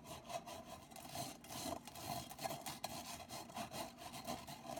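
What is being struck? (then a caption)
Wire-mesh metal pencil holder. A black, cylindrical, hollow and empty wire-mesh metal pencil holder is scratched and rubbed across its mesh surface and rim by long nails. The sound is a continuous raspy scraping with a recurring tone around 690 Hz and bright, high hiss. Repeated strokes swell and fade in quick succession.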